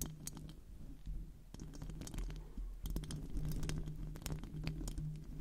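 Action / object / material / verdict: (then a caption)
scrape / metal mesh microphone grille / metal mesh / none. Long decorated acrylic nails scratch and tap the hollow metal mesh grille of a silver microphone while both hands cup it. Quick, irregular scratchy clicks and taps patter over a heavy low rumble with a steady low hum, growing a little louder and busier toward the end.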